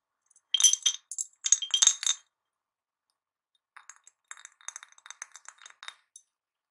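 A medium clear ribbed glass jar with a glass lid, hollow and holding a few wrapped mint candies, is held in one hand and shaken and tilted so the candies clink against the glass walls. Bright, short glassy clinks come in a louder cluster first, then after a pause a softer run of quick rattling clinks follows.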